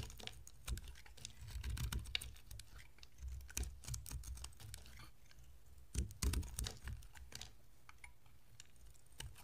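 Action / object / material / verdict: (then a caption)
scrape / bar soap scraped with a knife blade / soap / none. A utility-knife blade scrapes thin slices off the surface of a solid red and white striped bar of soap. Quick, dry crisp scrapes and clicks come in an uneven run, with a low rumble underneath and a few louder bursts near two and six seconds.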